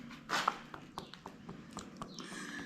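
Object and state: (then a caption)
Solid lime render. Lime render on a cave house arch is tapped, giving a series of short, sharp knocks with almost no ring, along with a brief brighter scrape near the start. The spot sounds solid, unlike a hollow patch nearby.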